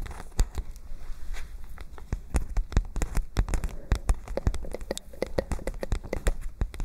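A white paper notebook with a spiral binding is held up and bent while long nails tap rapidly across its paper pages. The result is a dense, irregular run of short, dry clicks and soft crackles over a faint low rumble, each tap dying away almost instantly.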